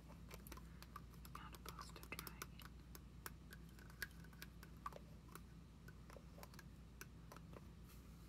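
A small purple plastic foam pump bottle with a clear plastic overcap is held sideways while long nails tap and scratch along its body and cap. Quick, dry, irregular clicks with bright edges sound over soft scratching and a steady low hum.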